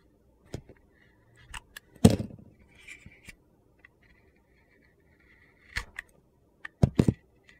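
A utility knife shaves slices along the edge of a solid white soap bar with a yellow-orange glitter coating. Short, crisp, gritty scrapes and crunches come in scattered bursts between quiet gaps, with one longer, louder crunch near the start and a few sharp cuts toward the end.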